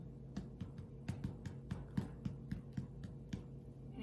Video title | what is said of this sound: White Bread Recipe | Can you hear? It's hollow.